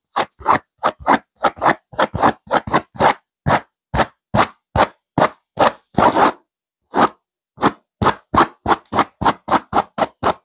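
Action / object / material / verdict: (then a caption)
scrape / stuffed cushion with velvet cover / velvet fabric / none. A soft stuffed pillow with a purple velvet cover and a raised silver geometric diamond pattern is scratched vigorously by the long acrylic-tipped nails of both hands. About 31 quick, separate, dry scratching strokes are heard, each a brief rasping burst centered near 1 kHz with bright hiss on top. There is one longer stroke around six seconds, then a short silent gap before the rapid strokes resume.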